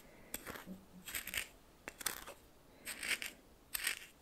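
A red plastic spoon stirs and scrapes coarse salt in a small glass bowl held in the hand. Quiet, gritty bursts of bright crunching and rasping come in uneven waves over a soft background hiss. Each sweep of the spoon makes a short flurry of sharp, fast-dying grains.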